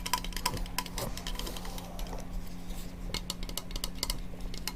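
Fingertips tap and scratch on the brushed nickel sink base plate of a new kitchen faucet, which has a foam seal along its side. Light metallic ticks, a few with a brief ring near 1 kHz, fall over a steady low hum and soft scratching.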